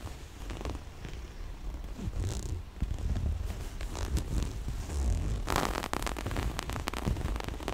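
Long nails scratch and pluck at a small, soft, hollow floral-print cloth pouch with a black zipper edge. The result is a dense, low rubbing rumble with quick dry scratches and crisp zipper ticks, getting busier and brighter toward the end.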